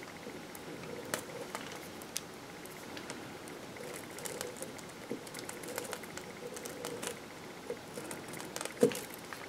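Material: Soap.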